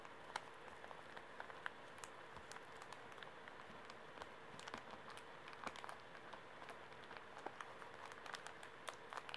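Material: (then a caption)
Plastic film. A small, full Kleenex pocket tissue pack in plastic film is held upright in the hands while fingertips tap and nails scratch the wrapper. Quiet, crisp plastic ticks and crinkly scratches scatter throughout over a soft, steady hiss, each sharp click bright and dying away almost instantly.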